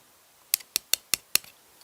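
A plastic Batman action figure, a cheaper kids' toy, is tapped five times against a microphone to show how it is built. Each tap is a short, bright, high-pitched click with almost no ring, giving a very hollow sound.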